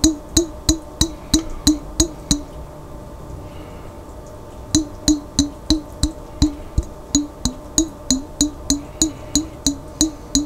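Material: Glass.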